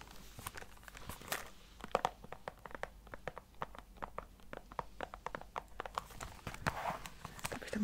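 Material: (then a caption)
Cardboard. Long painted fingernails tap a small, hollow rectangular cardboard tea advent calendar box, possibly with a thin film wrap, in a quick clip-clop rhythm. Many short, dry clicks come fast and close together, with a brief crinkly rustle near the end.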